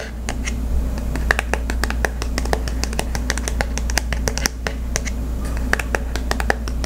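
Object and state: Cardboard gift card holder.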